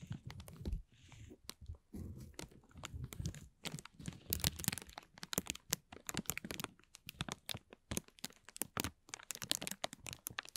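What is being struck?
Thin clear plastic film.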